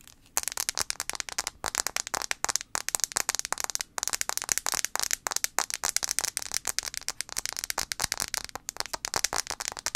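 A handheld blue iPhone 5c with a plastic body, held screen-forward, is tapped fast on its glass screen with long acrylic nails. A dense stream of sharp, bright clicks runs steadily throughout, each dying almost instantly, with almost no low end.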